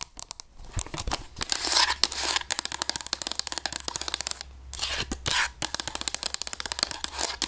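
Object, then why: Plastic graphing calculator. Long nails scratch and tap the textured plastic back and keys of a hollow grey plastic graphing calculator held in the hands. Rapid, sharp, bright clicks alternate with bursts of dry scratching hiss. The overall sound is crisp and high-pitched, with little low end.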